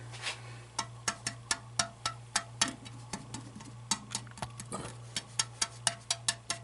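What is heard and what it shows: A metal hydronic heating expansion tank is tapped along its length in a series of sharp, bright, short-ringing knocks over a steady low hum. The taps sound solid all the way up because there is no air cushion in the top: the tank is waterlogged, the system reads nearly 20 psi with the boiler off, and the tank must be drained.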